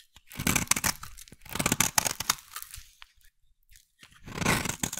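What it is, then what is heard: Bar soap being carved. A metal blade carves and scrapes a solid, hand-sized bar of brown soap. Crisp, bright crunching and scraping strokes come in short bursts separated by brief quiet pauses. The last stroke fades out near the end.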